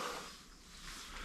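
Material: Nothing is struck.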